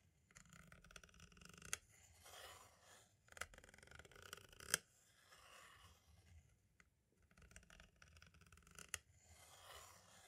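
A green-and-black striped thin tool tip traces and taps across the label surface and hub area of a hollow plastic compact audio cassette shell that is held still. Quiet, bright scratching and scraping drifts on and off, broken by a few sharp plastic clicks, with brief near-silent pauses in between.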